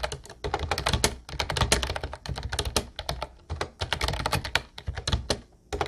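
Fingertips of both hands type steadily on an Ubotie light blue plastic retro keyboard with round white keycaps. Its rapid, clacky keystrokes have a bright click over a low thump, broken by a few short pauses.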